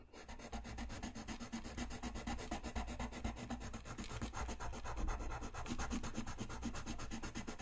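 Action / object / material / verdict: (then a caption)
scrape / paper sheet rubbed with a coloured pencil / paper / none. A dark colored pencil rubs across a flat white paper sheet lying on a desk, filling in dense coloring strokes near the lower edge of a drawing. The sound is a steady, continuous scratchy rubbing, with quick back-and-forth strokes repeating at about two per second over a low, dull undertone.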